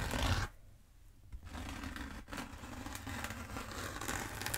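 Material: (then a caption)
Bead foam. Long nails scratch down the length of a long black bead foam roller from the top. A loud, low, rumbling burst opens the clip, then a short near-silent pause before a steady, dry, scratchy rasp runs to the end with a brief dip partway through.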